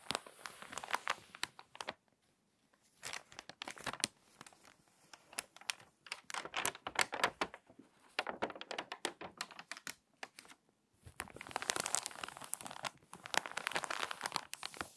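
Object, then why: Magazine paper pages. An open, thin glossy paper magazine with crinkly water-damaged pages is handled by fingertips with long nails that turn and smooth the pages and crease the spine. Dense bursts of dry, bright crinkling and rustling come in clusters, separated by brief quiet pauses. The sound is thin and crisp, with almost no low end.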